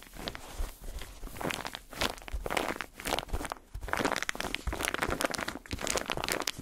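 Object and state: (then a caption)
Textured foam bath pillow. Fingertips and nails tap and scratch a white textured foam bathtub pillow with a padded, knobbly surface, held close to the microphone. The result is a steady stream of soft, dry crinkling and scratchy crunches with bright, airy hiss and short bursts that rise and fall throughout.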